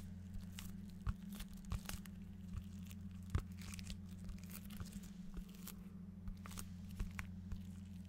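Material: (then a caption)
Cardboard. A large, flat cardboard desk pad calendar cover with a printed pattern is held up and tapped and scratched with fingernails. Quiet, dry taps and brief scratchy ticks come through over a steady low hum.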